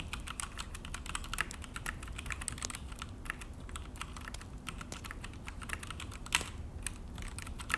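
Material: Plastic.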